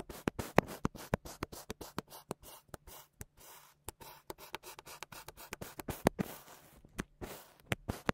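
A wooden meat tenderizer with a textured head is pressed and knocked down again and again into a flat, solid round slab of brown kinetic sand on a white surface, leaving a grid pattern. A rapid series of soft, dry crunching taps with a gritty, scratchy texture is heard, each one short with almost no ring. A faint low hum sits underneath.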